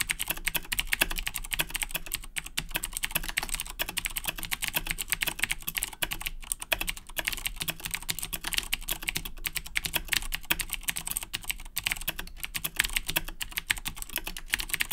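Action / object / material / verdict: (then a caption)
tap / mechanical keyboard with plastic keycaps / plastic / none. Fingertips type steadily on a black Razer BlackWidow 2010 Edition mechanical keyboard with Cherry MX Blue switches and plastic keycaps. A fast, continuous stream of sharp, bright clicks with almost no ring sits over a faint low hum.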